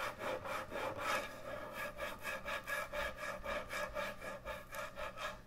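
Long nails scratch and rub back and forth across the top of a large, thick, solid end-grain hardwood butcher block cutting board. The result is a steady run of quick, dry rasping strokes with a woody midrange tone and a bright, hissy edge.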